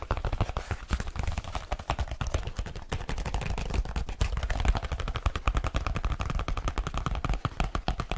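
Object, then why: Leather folio case. Fingertips and nails tap fast on the flat surface of a large black leather folio-style case held in hand, hollow and flexible. A dense, steady stream of short, dry taps sounds deep and thumpy, with lighter clicking from the nails on top and no ring after each hit.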